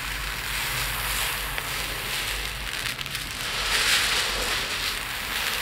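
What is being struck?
Loose small resin beads in a plate.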